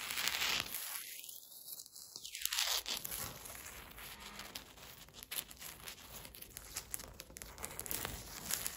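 Long, pointed green acrylic nails tap and scratch across large, solid, flat slate stone floor tiles while a dog lies still nearby. The sound is a dense, irregular stream of bright, crisp clicks and scraping, mostly high-pitched, with each tap dying away quickly.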